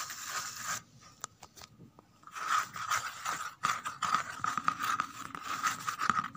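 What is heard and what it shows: Long red nails scratch the flat inner surface and the edge of an empty corrugated cardboard box. Dry, rasping scratches with a bright hiss and a steady scraping tone come in bursts, with a quieter stretch of faint ticks. The scratching then resumes denser and louder to the end.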